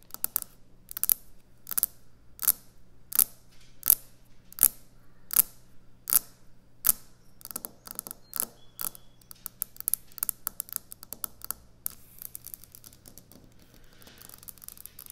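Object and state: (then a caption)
Quartz kitchen countertop. Long nail tips tap fast on a solid white speckled quartz kitchen countertop, making sharp, bright clicks that fall in a steady rhythm at first. The tapping then turns quicker and more crowded, ending in a dense, softer stretch over a faint steady low hum.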